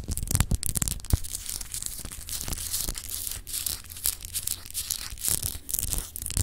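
Long acrylic nails scratch over a palm-sized solid clear glass globe paperweight with an etched texture, held in the hands. A continuous, bright, raspy scraping with quick sharp flicks rides over a steady low hum, its level rising and falling throughout.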